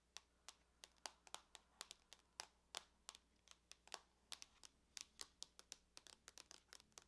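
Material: Aluminum.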